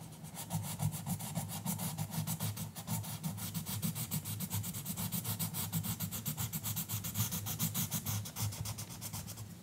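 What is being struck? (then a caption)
Colored pencil on a paper coloring book page. An orange colored pencil scratches back and forth across the page of an open paper coloring book lying flat on a counter, while the other hand holds the book. The strokes come quickly and unevenly as a continuous, bright, papery scratching, over a steady low hum.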